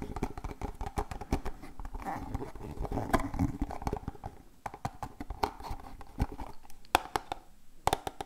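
A small, hollow, closed printed cardboard medicine box for Voltadol Forte gel is held in both hands close to the microphone and tapped and scratched with the fingertips and nails. Quick, dry, muffled taps come in irregular bursts, with a soft scratching rustle in the middle. The taps are weighted toward the low end and stop dead with almost no ring.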